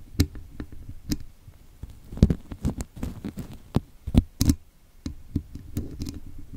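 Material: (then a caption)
Metal wire. Thin metal tweezers pick and scratch at the woven metal wire mesh grille of a hollow microphone head, with a towel resting below. The result is an irregular run of short, dull, low taps and scrapes, with a few sharper clicks that flash up bright and die away almost at once.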